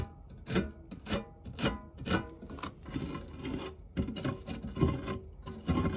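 The tip of a white silicone spatula scrapes the textured base of a round, dark non-stick fluted metal tart tin that holds crumbs. Rhythmic rasping strokes with a low body and bright, gritty edges come at steady intervals at first, then blur into denser, more continuous scraping.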